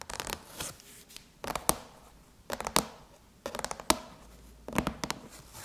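Long chrome nails tap and scratch a closed silver aluminum MacBook lid with both hands. Clusters of crisp, bright clicks and scrapes come in short irregular bursts and die away almost instantly, with quiet gaps between them.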